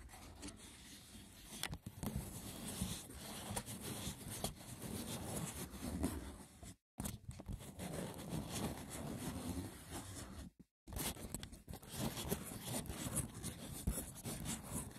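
Fingertips tap and scratch the woven lid of a hollow, braided seagrass wicker box. A dense, rough scratching texture with low body and bright crackle continues throughout, with sharper taps standing out and two brief silences breaking it near the middle.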